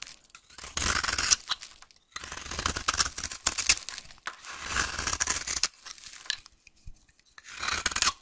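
A solid, rounded-rectangle brown vintage soap bar, dry and held in the hand, is scraped with a utility knife into curled shavings. Bright, dry, crackly scraping comes in bursts separated by short quiet pauses.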